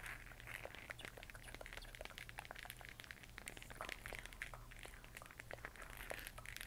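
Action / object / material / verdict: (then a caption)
tap / plastic LED moon lamp / plastic / none. A large hollow plastic LED moon lamp with a textured moon surface, lit and changing colour, is held in both hands and tapped and scratched with long nails. Quiet, rapid, crisp clicks and bright scratchy crackling run continuously over a steady low hum, each tap dying away almost instantly.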